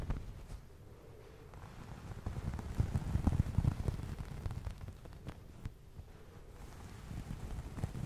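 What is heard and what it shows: A soft, fluffy white fabric towel is held by hand near the mic and scratched and rubbed with the fingers. The result is a muffled, low rustling and scratching made of irregular soft strokes. It swells louder around the middle, then settles back to a quiet rub.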